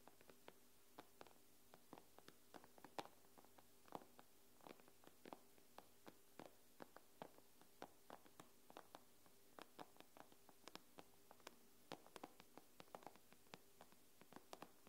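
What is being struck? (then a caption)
Tablet glass screen. Long nails tap the glass screen of an iPad, making around fifty quick, dry clicks over about fifteen seconds. Each tap is short and sharp with almost no ring, and the taps come at an uneven, unhurried pace. The recording is quiet, with a faint steady hum underneath.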